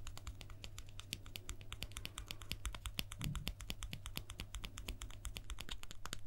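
A guitar pick that was used on stage and thrown into the audience is tapped in a quick, steady stream of short, dry clicks with almost no ring. A constant low hum sits underneath the taps throughout.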